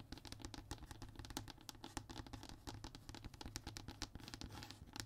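A flat, thin, solid brown hardboard (MDF) fiberboard panel is scratched and tapped with fingertips and short fingernails. Quick, dry, crisp taps and scrapes follow one another in a rapid, uneven patter, each dying away almost instantly. The sound is quiet, with bright clicky edges over a steady low hum.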